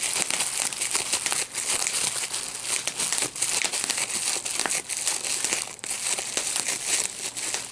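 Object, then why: Plastic bubble wrap sheet. A clear plastic bubble wrap sheet with small air-filled bubbles, gathered in both hands, is pinched by the fingertips to pop the bubbles. The result is a steady stream of sharp, bright pops and crinkling plastic with no low rumble. The pops cut off almost instantly.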